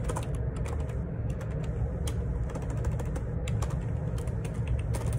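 Fingertips type on the plastic keycaps of a black Perixx Periboard 612 wireless Bluetooth ergonomic split keyboard with a hollow plastic housing, lying on a grey laminate desk. A steady run of quick, bright key clicks sits over a constant low rumble.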